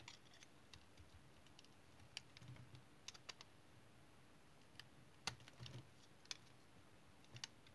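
A solid, dried brown tar soap bar held in the hand is shaved with a utility knife blade into curled chips. Sparse, crisp, bright clicks and short scraping cuts come at irregular intervals over a quiet, low background hum.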